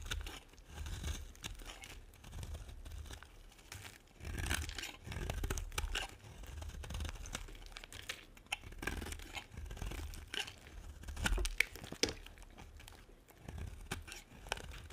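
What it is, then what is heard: Dry bar soap being carved. A metal blade scrapes and carves the edge of a solid, dry pink and white bar of soap. Close, crisp scraping and crumbly tearing sounds come in uneven bursts, with brief crackles and a soft low rumble underneath. Small sharp ticks stand out now and then.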